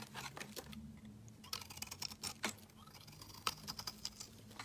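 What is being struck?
Solid soap bar scraped with a metal blade.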